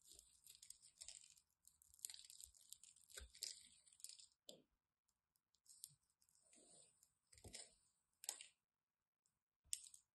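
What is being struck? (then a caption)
Striped bar soap cut with a craft knife. A solid orange and white striped bar of soap, held in the hand, has its edge chipped away with a craft knife. The result is quiet, bright, crisp crunching and scraping in short irregular bursts separated by brief silences, with almost no low end.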